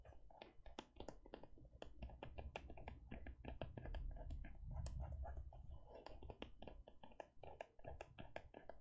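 Fingertips and long nails tap repeatedly on the front of a closed teal faux leather e-reader cover held on cloth. The result is a quick, irregular stream of soft, dull taps with sharp clicky edges over a low muffled thump.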